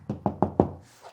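Four quick knuckle taps on a drywall wall, each a dull, hollow knock with a short low-mid ring, made while listening for where a stud sits behind it. A faint soft rustle follows the last tap.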